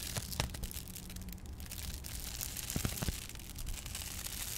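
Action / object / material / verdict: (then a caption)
scrape / ridged foil-laminated insulation sheet / metal foil / none. Long painted nails scratch and rub across the ribbed surface of a flat, textured, ridged silver foil-laminated insulation sheet held under both hands. The result is a steady, bright crinkling rasp broken by sharp, brief clicks, over a low background rumble.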